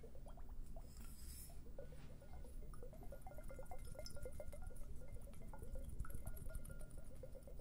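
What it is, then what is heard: Liquid-filled glass hourglass timers being shaken. Two matching hand-sized hollow glass hourglass timers, filled with purple liquid and bubbles, are held one in each hand and shaken and tilted beside a dummy-head microphone. The result is a soft, continuous sloshing and gurgling with many small bubbly pops and faint glassy clicks over a deep low rumble.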